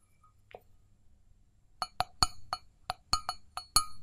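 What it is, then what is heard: Stainless steel mug tapped with fingernails. Long fingernails tap and scratch the outer wall of an empty, hollow stainless steel mug with a handle. After a faint early tap, a quick, uneven run of sharp metallic taps follows, each giving a short, bright, high ring that dies away almost at once.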